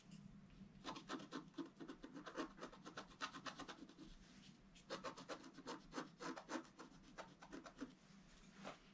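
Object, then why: Black-coated scratch-art paper board. A wooden stylus scratches fine lines into the coating of a flat, solid black scratch-art board about notebook size, near the flowers. It makes quick, dry, bright scratching strokes in two rapid bursts with a short pause between them, over a faint low hum.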